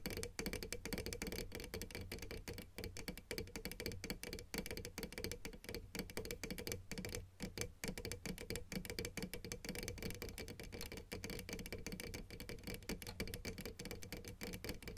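Long nail tips tap rapidly and continuously on the white plastic keys of a piano keyboard. The result is a dense stream of short, dry clicks over a steady low hum, with a faint tonal ring in the midrange.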